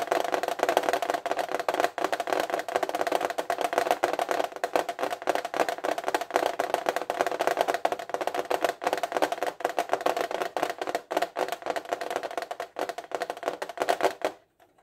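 Fingertips and nails tap rapidly on the back side of a flat metal fineliner tin case held upright. The result is a dense, continuous patter of short, dry clicks with a metallic ring centered near 720 Hz and no low end, stopping abruptly just before the end.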